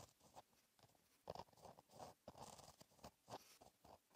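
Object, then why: Gel pen on paper notebook page. A gel pen with a metal tip writes cursive on a flat, black lined paper notebook page. Quiet, scratchy strokes glide and catch on the paper in short, uneven bursts with brief pauses between them, each fading almost instantly. The sound sits mostly in the midrange, with faint bright scratching on top.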